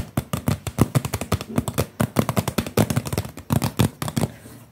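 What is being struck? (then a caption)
Plastic water bottle, partly filled. A clear blue plastic water bottle with a label, hollow and partly full of water, is held close and tapped quickly with the fingertips. The result is a rapid, uneven run of short, dry, hollow thuds, weighted toward the low end with a muted knock and little ring. The taps stop near the end, leaving a faint fading hiss.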